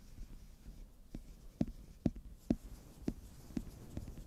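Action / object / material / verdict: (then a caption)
scrape / cardboard eyeshadow palette cover / cardboard / none. Fingers rub and scratch the textured back of a holographic glitter-foil cardboard eyeshadow palette cover held in the hand. A quiet, low, dry scratching is broken by a string of short, muffled taps at a loose, uneven pace, each dying away almost instantly.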